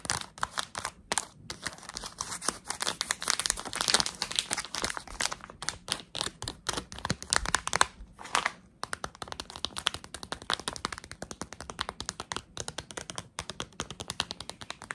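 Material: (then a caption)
Plastic foil. A small, soft, filled printed plastic and foil Tsum Tsum blind bag is tapped and crinkled with long acrylic nails. The result is dense, bright crinkling with rapid, sharp clicky taps and quick crackles. The sound is loudest between about 3 and 8 seconds, dips briefly near 8.5 seconds, then continues as steadier, softer tapping and crinkling.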